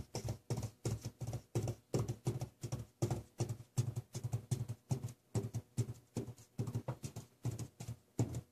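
Plastic felt-tip markers worn on the fingertips rapidly tap and dot a large sheet of drawing paper lying flat on a hard table, with loose stones resting on the paper but not struck. The taps come in quick, uneven clusters of dull, low thuds with a faint papery tick and almost no ring.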